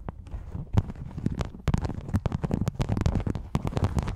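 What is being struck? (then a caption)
Metal rhinestone mesh sheet over a foam-covered microphone. Long yellow nails scratch and tap across a thin, flat, flexible silver rhinestone and sequin mesh sheet draped over a foam microphone. The result is a dense run of quick, crackling taps and rustles, heavy and muffled in the low end, with sharp clicks that flash bright for an instant and die away at once.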